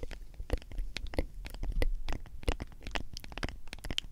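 Long acrylic nails tap and scratch the printed label and white plastic lid of a medium, hollow plastic G Fuel powder tub that is likely partly full of powder. The result is a quick, steady run of dry, clicky taps with a hollow low thud under each one, mixed with brief, bright scratching. Each tap dies away almost at once.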